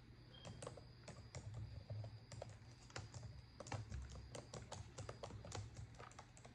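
Long decorated acrylic nails type on a black plastic laptop keyboard, producing steady, quick plastic key clicks with short bright ticks. A constant low hum runs underneath the typing.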